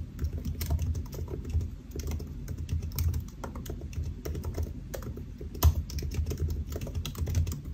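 Fingertips of both hands type on a solid silver aluminium laptop keyboard with black plastic keys, resting on a white desk. A steady stream of rapid, soft key taps is heard, mostly low and muffled, with brief bright clicks and a sharper accent near the end. Each tap dies away almost instantly.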